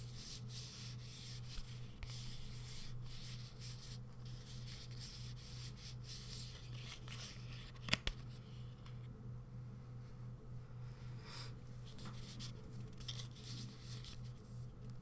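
A small, hollow, closed printed cardboard box for a KIKO nail art magnet is held in one hand and rubbed and scratched with the fingertips and nails of the other hand. Soft, bright scratching and rubbing textures play over a steady low hum. A few sharp little taps stand out, the strongest near the middle.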